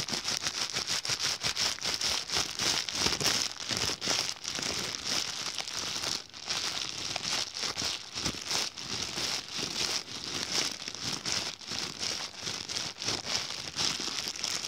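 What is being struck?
Thin plastic carrier bag.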